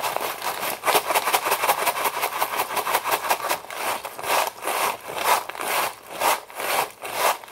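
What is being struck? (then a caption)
Foil-lined plastic pouch of dry pasta. A foil-lined plastic Knorr Pasta Sides pouch full of dry pasta is shaken and crinkled in both hands. Rapid, bright crinkling and the rattle of loose pasta come in a dense stream at first, then settle into slower, separate swells of rustling.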